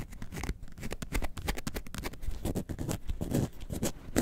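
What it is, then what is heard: Faux leather box-shaped bag scratched with nails. Long acrylic nails scratch the front panel of a box-shaped yellow and white faux leather handbag shaped like a lemonade carton, about 20 cm tall, hollow and standing upright. A quick, steady run of dry, rasping strokes plays out with a muffled, low-heavy body, short bright streaks and no ring after each stroke.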